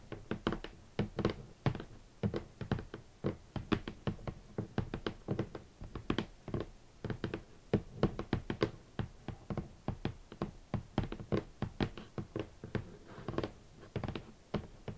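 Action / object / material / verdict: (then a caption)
tap / rigid cardboard shoe box / cardboard / none. Fingertips and nails knock and tap on the top edge of a large, rigid, hollow red cardboard shoe box. A steady, irregular run of short, dull, hollow thuds comes through, heavy in the lows and dying away almost at once, with some sharper, brighter clicks mixed in.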